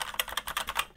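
Keys are typed on a full-size mechanical keyboard with red switches, giving eight quick, bright clacks with little low end. The keystrokes sound hollow and a bit noisy, though still fine for gaming.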